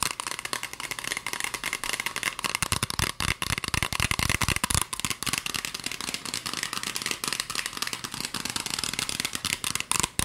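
Long acrylic fingernails rapidly tap and scratch a hollow green plastic spray bottle with a white trigger nozzle, partly filled with liquid. The result is a dense, continuous stream of dry, bright clicks and scratchy rasps that die away almost instantly, with a hollow plastic tone around 1 kHz and little low end.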